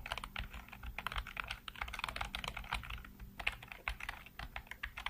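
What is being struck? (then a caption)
Plastic computer keyboard. Fingertips rapidly tap and type on a full-size black plastic computer keyboard with hollow keycaps. The result is a dense, steady stream of short, dry, bright clicks with quick decay over a faint low hum.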